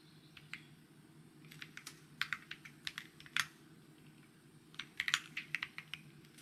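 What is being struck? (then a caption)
Mechanical keyboard with plastic keycaps. Fingertips type steadily on a white mechanical keyboard with plastic keycaps, producing about twenty short, bright, clicky taps. The taps come in irregular bursts over a faint low background hum.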